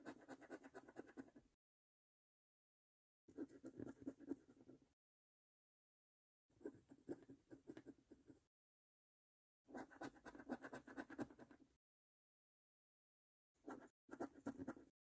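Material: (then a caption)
Cardboard. A coin held in the fingers scratches the latex panel of a thin, flat, printed cardboard £1 million National Lottery "Bank The Cash" scratch card, revealing numbers. Quick, steady, raspy scraping strokes come in bursts of a second or two, separated by silent pauses.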